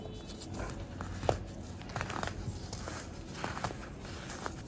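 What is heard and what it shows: Small solid pink-and-white pressed baking soda blocks are held in bare fingers and rubbed together over a bed of pink powder, their dry, crumbly texture giving off soft, gritty scraping. Quick, irregular crunches and crackles stand out over a low, steady rustle, with one sharper crunch early on.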